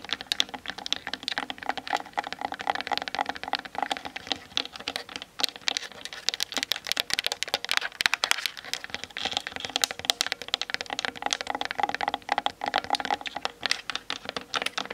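Long acrylic nails tap fast on the sides and top of a hollow plastic Canon DSLR body fitted with a kit lens and mounted on a tripod, captured by the camera's own built-in mic. Dense, rapid, dry clicks with almost no ring form a continuous bright patter centered around 1.7 kHz, with no low-end weight.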